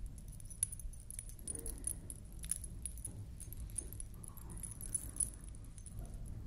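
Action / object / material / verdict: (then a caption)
flick / glass-bead collar necklace with small metal disc dangles / metal, glass / none. A beaded collar necklace, a large flat ring of blue, red and white glass beads on a stiff wire frame with small metal discs hanging along it, is held up in one hand while long nails brush and flick the dangling discs. The discs give off soft, bright metallic jingles and tinkles over a steady low rumble.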